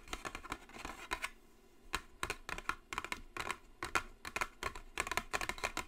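Long nails tap and scratch the top of a long, narrow, white Jisen brush set box made of hollow cardboard. The result is a steady run of quick, dry, clicky taps with a bright, hollow tone centered near 1 kHz that die away almost instantly. Soft scratching fills the gaps, and there is a brief lull around the middle.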